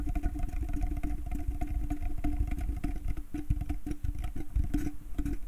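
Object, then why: Wooden slatted bucket. Fingernails scratch rapidly over the slats of a small, light wooden slatted bucket with a rope handle, hollow and empty. The result is a dense, continuous run of fast, dry scratching clicks with a low, hollow body resonance and faint steady tones underneath.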